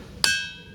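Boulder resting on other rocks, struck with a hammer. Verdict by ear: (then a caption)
Ringing. A hammer strikes a boulder that rests only on other rocks, not on the ground, in a single sharp hit. The rock rings with a bright, metallic tone centred near 1.6 kHz that fades over the rest of the clip, sounding like metal hitting metal.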